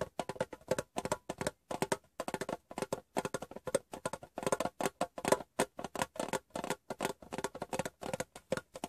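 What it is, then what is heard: Metal gum tin. Fingertips and painted nails tap the top edge of a hollow, rectangular metal Wrigley's gum tin turned upside down. About fifty quick, light taps come in uneven clusters. Each is a short, dry metallic tick with a ringing tone around 516 Hz that dies out almost at once.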